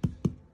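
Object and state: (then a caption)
Ripe jackfruit, hollow sound. Two knocks on a whole jackfruit to check whether it is ripe give short, dull, low thuds with almost no ring. The hollow sound points to a ripe fruit.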